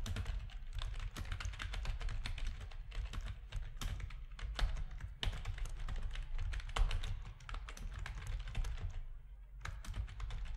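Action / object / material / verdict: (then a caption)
tap / plastic computer keyboard / plastic / none. Fingertips of both hands type steadily on a full-size black plastic RGB-backlit keyboard with a hollow plastic housing, resting on a desk. Rapid, dense, bright clicky key taps that die away almost instantly sit over a steady low hum near 62 Hz. There is a brief pause in the typing near the end before it resumes.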